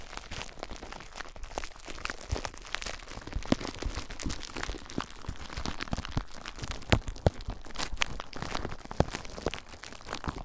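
Fingertips and short nails squeeze, crinkle and scratch clear plastic bubble wrap draped over a recorder with a lit screen. The result is a dense, steady stream of close crinkling and crackling, with scattered sharper snaps standing out throughout.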